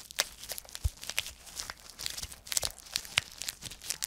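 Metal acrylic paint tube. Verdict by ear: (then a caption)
Dry. A vintage 1960s tube of blue acrylic paint, completely dried out, is squeezed and gives off a rapid series of sharp, crispy crunches and crackles. The brittle clicks are bright and high-pitched with almost no ring. They repeat unevenly across the clip and show that the paint has hardened inside the tube.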